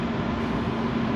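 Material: Nothing is struck.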